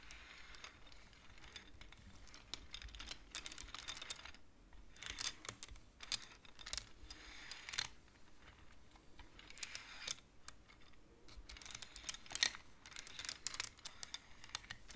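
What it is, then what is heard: Wooden abacus. Fingertips sweep and push the wooden beads of a wooden abacus, making quick, bright clicking and clattering bursts. The short, dry clicks come in rapid clusters with brief quieter gaps, and the sound stays mostly high with little low rumble.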